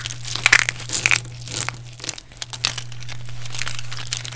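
A pile of small, solid, dry pink bar-soap chunks is squeezed, crumbled and rubbed between fingertips and palms with long painted nails. Dense, bright crunching and crinkling crackles come in quick bursts that settle into a steadier gritty rustle, over a constant low hum.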